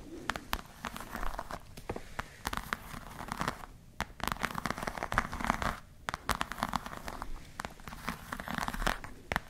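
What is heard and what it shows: Long nails scratch and tap across the glossy surface of a black croc-embossed patent leather clutch, producing dense crinkly scraping and sharp little clicks. The scratching comes in short bursts with brief pauses, centered in the midrange with quick, dry taps scattered throughout.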